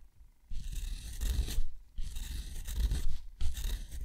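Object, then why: Thick rough paper under a steel dip-pen nib. A steel dip-pen nib scratches rows of small circles into a thick, rough white sheet of textured watercolor paper. The result is three bursts of dry, gritty scratching, bright and hissy with a low rumble underneath, separated by brief pauses.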